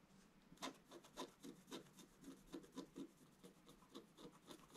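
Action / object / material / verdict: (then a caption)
scrape / black-coated scratch art card scratched with a wooden stylus / coated card / none. A wooden stylus scratches across the upper-middle area of a flat scratch art sheet, a black coating over metallic card. It makes a quiet, steady series of short, dry rasping strokes with a bright, scratchy edge, each fading almost at once.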